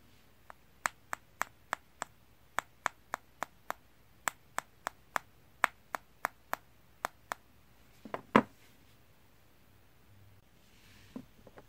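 A small, solid rectangular block of light-coloured wood, partly coated with car glass-coating liquid, is held in the hands and tapped with a fingertip to hear whether the coating changed its sound. About twenty short, dry, clicky taps come at a steady pace with almost no ring. They are followed by a louder, fuller knock, a quiet pause, and a few faint taps at the end.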